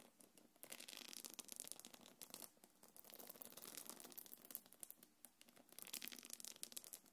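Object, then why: Quilted faux-leather belt bag. Long nails scratch and tap the body of a small, hollow, quilted black leather-look belt bag. The result is a dense, bright scratching texture broken by quick, crisp clicks and short pauses.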